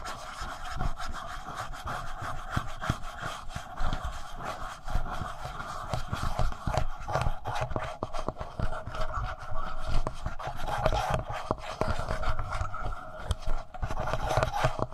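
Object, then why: Plastic handheld audio recorder. Fingertips rub and scratch the front face and screen area of a black plastic Tascam handheld audio recorder with a hollow body. Dense, continuous scratching comes with low, dull thumps close to the mic, over a steady midrange hum that runs throughout.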